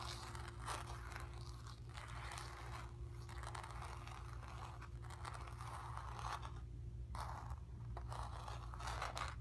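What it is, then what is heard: Painted stretched canvas. Long nails scratch and tap across the surface of a square acrylic-painted stretched canvas on a wooden frame, hollow behind and resting on carpet. Dry, papery rasps and light taps come in uneven bursts with quick decay, over a steady low hum that stays underneath throughout.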